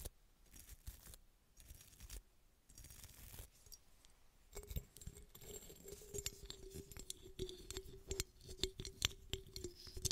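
A small, hollow red glass bottle with a sparkly textured surface, held in one hand, is scratched with a small bristle brush and long red nails. The result is quiet, dry, bright scratching and rapid clicking taps. About halfway through, a faint steady low hum rises beneath the scratching.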